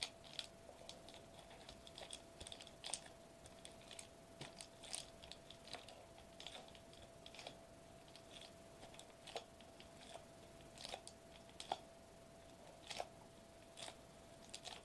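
Fingertips tap and press a flat silver metallized plastic bubble wrap sheet lying on a white table. Quiet, bright crinkles and sharp clicking taps come in irregular bursts over a faint steady tone near 730 Hz.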